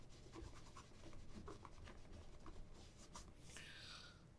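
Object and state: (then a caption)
Leather boot being rubbed. A hollow, empty black polished leather ankle boot is held by the shaft and rubbed with a cloth wrapped over the fingers. The result is a quiet, steady scratchy rubbing with a low, muffled body and faint bright swishes throughout, plus a brighter sweeping stroke near the end.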